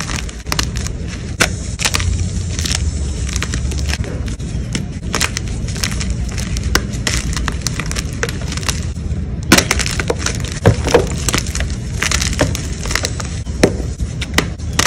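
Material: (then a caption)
Chalk. White gym chalk pieces are crumbled and rubbed quickly between both hands over a purple tray of chalk fragments. The result is a steady, dense crunching and crackling with many sharp, bright snaps over a constant low rumble, with crisper crunches toward the end.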